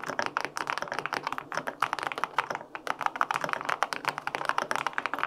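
Fingertips type steadily on the plastic keycaps of a white-pink full-aluminum 65% mechanical keyboard with linear switches. The result is a quick run of crisp, clacky keystrokes with a firm midrange tone and almost no low-end thump. Each tap stops dead with no ring.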